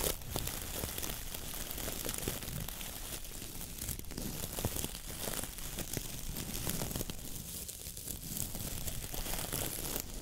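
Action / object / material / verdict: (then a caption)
scrape / coir dish brush / coconut fiber / none. Fingertips and nails pinch, squeeze and scratch the dense natural fibers of a coconut fiber (coir) dish brush head held with its bristles facing outward. The result is a steady, bright crinkling and scratchy crackle with a low rumble underneath, running without pause throughout.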